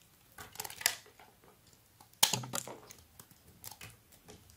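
A flat metal blade scrapes and carves thin shavings off a hand-sized, solid rectangular bar of blue soap held in one hand. Crisp, bright scratchy crackles come in irregular bursts, with two sharper, louder cuts standing out among softer scrapes over a quiet background.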